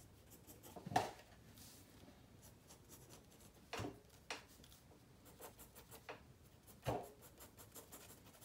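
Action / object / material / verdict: scrape / pencil lead on a paper sketchbook page / paper / none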